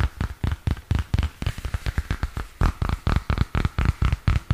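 Fingernails tap and scratch along the plastic cover and edge of a purple spiral-bound notebook held in both hands. About two dozen short, dull, low-pitched taps land in a loose, uneven rhythm, each dying away almost at once, with faint scratchy brushing between them.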